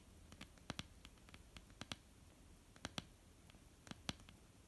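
Long almond-shaped painted nails of both hands tap on a flat, solid wooden tabletop. Quiet, short, bright clicks with a soft low knock fall in an irregular pattern, some in quick pairs, each dying away almost at once.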